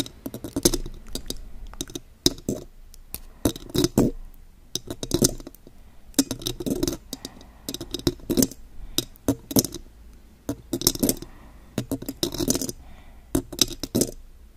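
Long pointed gold metal claw nails on both hands tap a silver metal condenser microphone's body and mesh grille. The result is rapid bursts of sharp, bright metallic clicks and clinks with almost no ring, separated by brief pauses.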